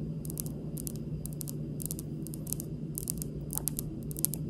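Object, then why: Granite countertop. Long pink acrylic nails on both hands tap and lightly scratch a large, solid, speckled granite kitchen countertop (also called marble). Soft, bright, quick clicks and faint scratches patter unevenly over a steady low hum. The result is a quiet, crisp tapping texture.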